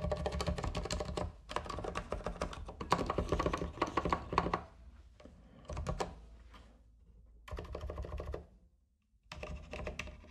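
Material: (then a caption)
Plastic. Fingertips type on a compact white plastic mechanical keyboard with plastic keycaps and a coiled cable. Bursts of rapid, clacky keystrokes come in uneven runs separated by short pauses, each press a short, sharp click with a low thock underneath.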